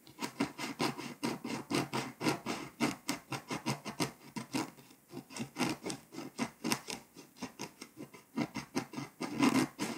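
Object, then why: Foil-coated paper scratch-off map. A pink scraper tool scratches the remaining foil off Hungary on a flat, foil-coated paper scratch-off map. Quick, dry, raspy strokes repeat in a steady rhythm, with a short lull around the middle and louder, harsher scraping near the end.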